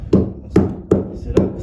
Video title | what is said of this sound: A NEW Project open to the PUBLIC to come SOON!!!! | celle elle est bien. C'est du béton celle-là.